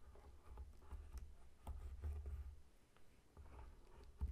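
Short nails scratch and fingertips tap the scaly rind of a whole, solid pineapple lying on a table. Quiet, dry scratching and soft taps come over a low, dull rumble, with a few slightly firmer knocks that die away almost at once.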